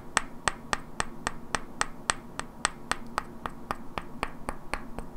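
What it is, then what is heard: Wooden blocks knocked together. Two identical hand-sized solid wooden cubes with black painted characters are held in both hands and knocked and clicked against each other, while long natural nails also tap their edges. About 20 sharp, dry, bright clicks come at a fairly steady pace of roughly three to four per second. Each hit dies away almost instantly over a faint low steady hum.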